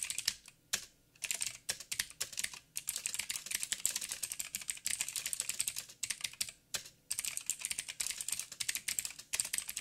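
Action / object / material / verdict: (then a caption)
tap / mechanical keyboard with plastic keycaps / plastic / none. Fingertips of both hands type on a backlit mechanical keyboard with black plastic keycaps on a silver frame and a hollow housing. A rapid, uneven stream of bright, sharp clicks and clacks decays almost instantly, broken by a few brief pauses. There is almost no low-end body.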